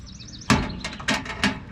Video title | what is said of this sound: I'm just gonna cry about it | It sounds hollow to me.